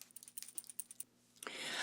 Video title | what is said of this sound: My HUGE Beauty Haul 2025 - part 1 | You have to shake it up. You hear the little ball inside.